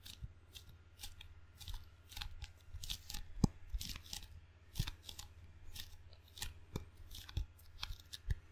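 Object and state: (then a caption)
Rubber-faced wooden ping pong paddle. Fingertips tap and stick on the black rubber face of a wooden table tennis paddle, giving a quiet, irregular series of short, bright sticky clicks and peels. A steady low hum runs underneath throughout, with a few sharper taps standing out.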